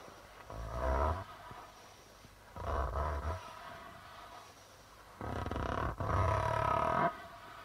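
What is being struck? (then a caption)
Darbuka drum with plastic drumhead. Fingers rub and tap the white plastic membrane of a hollow darbuka drum, making three sustained, growling bursts. Each burst has a deep low rumble under a hollow tone around 700 Hz to 1 kHz, with quiet, hissy pauses in between.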